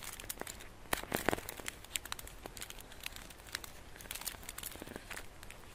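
Fingertips and nails scratch and crinkle the embossed gold foil wrapping a solid flat chocolate bar held in the hands. Soft, dense crackles and sharp crinkles come in irregular bursts, with a few louder crunches near the start, all fairly quiet and dry.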